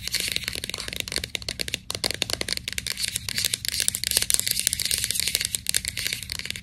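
Long nails scratch and rub the paper label on a white plastic vitamin capsule bottle. The result is a dense run of quick, dry, crackly scrapes, bright and papery, with almost no low end and each stroke dying away instantly.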